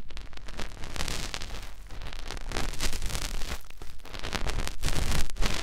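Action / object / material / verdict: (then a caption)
scrape / soft silicone ear of a binaural microphone / silicone / none. Fingertips rub and press into the canal of a white soft silicone ear on a white binaural microphone body. The result is a close, continuous scratchy rustling with muffled low thumps and crackles. It swells and dips without clearly separate strokes.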